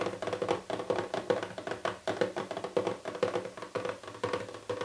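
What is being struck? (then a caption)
Small printed cardboard box. Fingertips and painted nails tap rapidly on the lid of a small, hollow printed cardboard box with its pink print fully revealed. The result is a quick, uneven run of dry, hollow knocks with a mid-pitched tone around 480 Hz. Each tap dies away almost at once.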